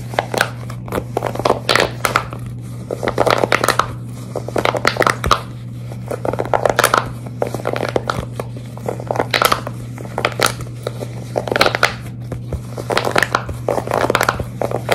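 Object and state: Silicone pop-it fidget toy.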